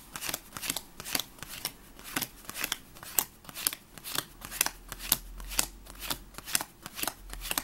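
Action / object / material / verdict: flick / paper playing card deck / paper / none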